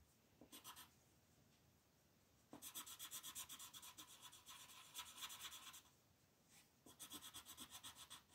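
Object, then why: Wooden colored pencil on a paper sheet. A light green wooden colored pencil is rubbed back and forth across a flat printed paper coloring sheet on a table, shading in leaves. Three bursts of quick, scratchy strokes give a bright, hissy rasp, separated by quiet pauses.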